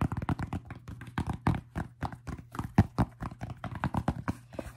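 A white mesh-fabric College World Series baseball cap with a dark stiff brim is held hollow in both hands and tapped on the crown and brim with fingertips and short painted nails. The result is a quick, irregular run of soft, dull, low-pitched taps that die away almost instantly, over a faint steady low hum.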